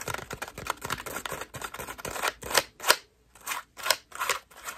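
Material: Plastic mesh.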